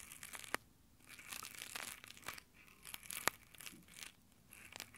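Both hands, wearing rough nylon exfoliating gloves, rub their fingertips across the top of the mic grille of a small handheld Tascam recorder. The result is quiet, bright, crinkly scratching and rubbing that comes in uneven bursts, with a couple of sharper clicks standing out.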